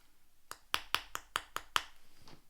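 A porcelain dish is tapped against teeth at a suspected restored area that feels sticky and tacky like nail varnish. Seven short, separate taps sound as slight, dull thuds rather than sharp clicks. The duller tone, along with a different feel on the teeth, shows the spot has been professionally restored.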